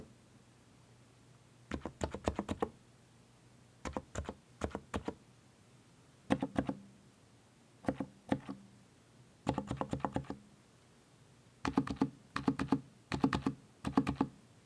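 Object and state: Mechanical keyboard with plastic keycaps being typed on.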